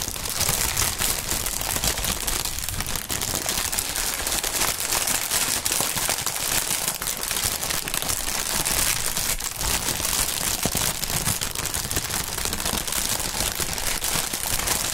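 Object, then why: Polyethylene air pillow packaging strip. A clear, hollow, inflated polyethylene Sealed Air air-pillow packaging strip is crumpled and shaken close up by gloved hands. It makes a dense, continuous, bright crinkling and crackling at a steady level for the whole clip.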